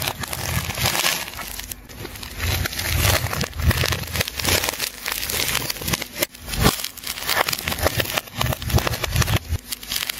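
A hand holds a large, solid ball of layered rainbow plastic tape while a metal scalpel cuts and scrapes through the layers, and strips of tape are peeled away. The result is dense, continuous crinkling and crackling with bright, hissy scraping over a low rumble, in bursts that swell and fade throughout.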